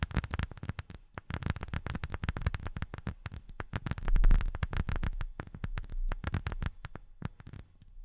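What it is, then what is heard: Rubber sheet. A rubber sheet is tapped with silicone rubber finger pads in rapid, uneven runs of soft, dull taps. Each tap is a short, muted thud with most of its weight low in the range and little high-end sparkle, dying away almost at once. The tapping briefly pauses just before the one-second mark, then picks up again and continues steadily.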